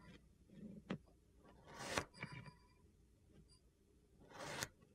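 A blue plastic knife held by a hand with painted nails scrapes ridged lines into a flat, solid slab of purple kinetic sand resting on a white surface. Quiet grainy swishes build into two broad, bright scraping strokes, with a few short soft ticks of the blade in between.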